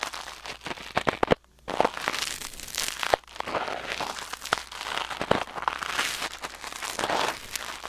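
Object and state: Silicone ear microphone scraped with tweezers.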